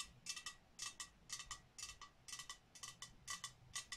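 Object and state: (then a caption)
Ceramic cookie jar. Long nails tap the surface of a medium, hollow, glazed ceramic snowman cookie jar with a top-hat lid. The result is 18 quiet, bright, clicky ticks, mostly in loose pairs at an uneven pace. Each tick carries a short glassy ring near 2.7 kHz that fades almost at once.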